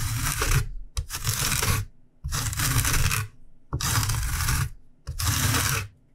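A whole fresh yellow lemon, held in one hand, is rubbed back and forth across a long stainless steel rasp grater held in the other, its rind zested onto a white cutting board. Five separate strokes give bright, rough scraping rasps over a low rumble, each ending in a brief pause.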